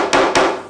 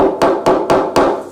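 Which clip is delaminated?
The second.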